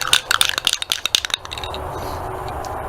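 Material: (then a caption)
Metal. A nearly empty metal aerosol spray paint can is shaken hard before painting, and its mixing ball rattles in about a dozen quick, bright clicks over the first second and a half. The rattling then stops, leaving a steady low background rumble. The can has to be shaken a lot because it is almost empty.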